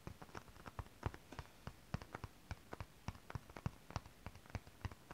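A hand with long decorated nails taps and scratches shiny holographic mermaid scale-printed fabric. It makes a quick, uneven run of about two dozen soft, dull, low taps with no ring, mixed with faint scratchy rustling between them.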